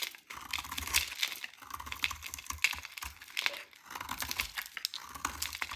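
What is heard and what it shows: A metal utility knife blade shaves a hand-held, solid, dry cream-white JO soap bar into crunchy flakes. The result is a dense run of crisp, bright scraping and crackling crunches, with only brief pauses between strokes. A faint low hum comes and goes underneath.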